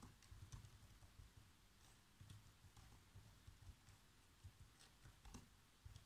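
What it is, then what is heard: Plastic laptop keyboard being typed on. Fingertips type on the black plastic keys of a laptop keyboard, making a quiet, steady stream of repeated key taps. Each tap is a soft, low thud with a brief bright click on top that dies away almost at once, and a few taps land a little harder than the rest.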